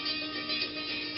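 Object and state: Nothing is struck.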